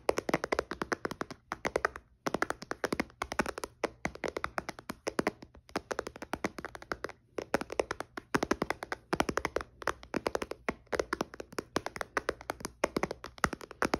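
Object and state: Glass tablet screen, tapped.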